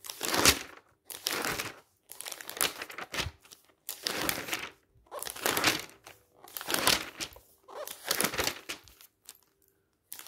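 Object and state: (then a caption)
Glossy magazine pages being turned. Fingertips rapidly turn and rub the pages of a thick, glossy paper magazine lying open on a stack. Bright, crinkly rustling bursts come one after another, separated by short near-silent gaps, with little low end.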